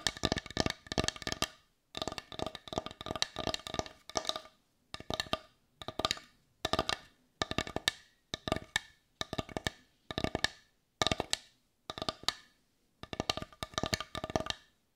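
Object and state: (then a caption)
Wooden bowl. A hand-sized, heart-shaped, dark brown wooden bowl, hollow and empty, is tapped on its outer surface with long nails. Rapid, dry, clicky taps come in short bursts separated by brief pauses, with a woody tone near 660 Hz and bright upper clicks. Each tap dies away almost instantly.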